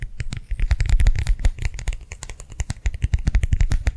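Fingernails rapidly tap and scratch the surface of a small, round, flat, clear plastic hand warmer pad filled with liquid, held in both hands. The result is a dense, fast run of soft, dull thuds, each topped with a bright, crisp tick.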